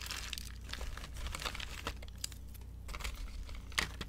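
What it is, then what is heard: Dry soap curls crushed by hand. Fingertips and long nails crush and crumble brittle, dry green soap curls and broken shavings in a glass bowl. Dense, dry crinkling and crunching crackles run throughout, with sharp bright snaps standing out over a low steady hum.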